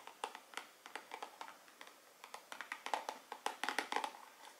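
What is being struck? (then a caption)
Small cardboard perfume box. A small, hollow Dolce&Gabbana The One gold-foil cardboard perfume box is held up and tapped and scratched with long nails. The result is a quick, uneven series of dry, papery clicks and light scrapes that stop sharply, with no low end and a bright, crisp edge.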